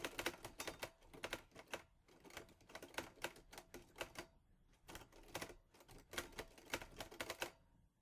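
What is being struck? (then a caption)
Metal portable manual typewriter. Fingertips type on the keys of a mint-green Olivetti Lettera 22 portable manual typewriter with a metal body and paper loaded. Quick bursts of crisp, bright metallic clacks come with brief pauses between runs. Each strike dies away almost at once.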